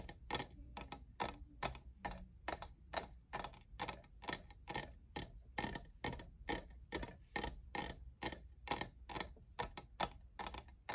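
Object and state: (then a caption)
Plastic studded tumbler. Fingernails tap the faceted side of a tall, hollow, empty-looking lavender plastic studded tumbler, about 37 times in a quick, uneven rhythm. Each tap is a short, bright click with a sharp plastic tick around 1.3 kHz that dies away almost instantly. A faint steady low hum sits underneath.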